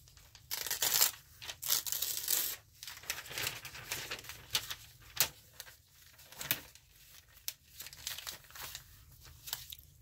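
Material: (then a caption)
Paper. Fingertips and a palm press and rub along the pages of an open, thin, glossy Bloomberg Businessweek-style paper news magazine lying flat on a glass table to crease them, then a page is lifted and turned. The result is bright, crisp paper crinkling and rustling in uneven bursts, with a few sharp snaps and almost no low end.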